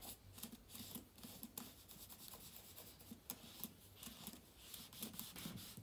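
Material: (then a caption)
Plastic, aluminium. A yellow microfibre cloth held in the hand wipes across the plastic keys of a silver laptop keyboard set in an aluminium body. The result is a quiet, repeated rubbing and swishing with a bright, hissy edge and light clicks as the keys shift under the cloth, over a faint low hum.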